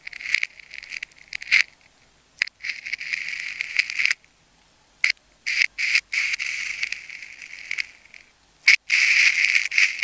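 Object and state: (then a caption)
Plastic tape ball cut with a craft blade. A metal craft knife blade cuts and scrapes into a palm-sized solid ball of wound plastic tape in pink and clear layers, held by fingertips. Bright, raspy scraping comes in irregular bursts of varying length, with a strong high hiss centered near 2 kHz and almost no low end. Short gaps of silence separate the strokes.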